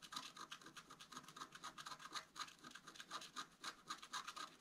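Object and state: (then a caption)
Scratch art card being scratched. A wooden stylus scratches fine lines into the coating of a flat black-coated scratch art card. Quick, dry, bright scratching strokes repeat about four times a second in a loose, uneven rhythm, with a steady hiss centered near 1.2 kHz and almost no low end.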